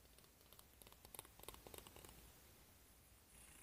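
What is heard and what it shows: Long fingernails strum and scratch along the teeth of a solid, hand-sized plastic hair comb, making a quick run of light, bright ticking clicks. The clicks cluster in the middle of the clip over a soft, low background rumble. Then they fade back into a quiet hiss.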